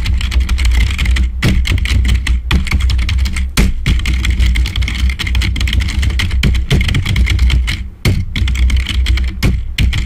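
Fast fingertip typing with both hands on a black plastic membrane keyboard produces a dense, continuous stream of quick clattering key taps with brief pauses. A steady low hum sits underneath throughout.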